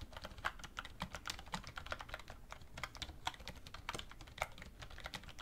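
A black plastic wireless keyboard resting on a wooden desk is typed on continuously with both hands, fingertips and medium-length red-painted nails tapping its plastic keys. A rapid, uneven stream of short, dry clicks with a hollow, bright edge runs throughout, each tap dying away almost instantly.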